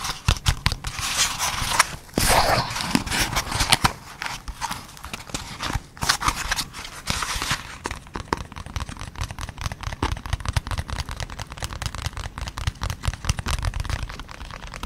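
A small printed cardboard product box is held in both hands close to the recorder while fingertips and nails scratch and tap its surface. The first half brings loud, bright, papery scratching bursts; after that comes a steady, rapid patter of dry taps with soft low thumps, each tap dying away almost at once.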